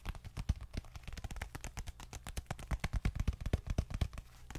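Long nails tap and scratch a small dark leather bifold wallet held in both hands, producing a rapid, uneven run of soft, dull taps. The taps are deep and thuddy with very short decay, with faint brighter scratching between them.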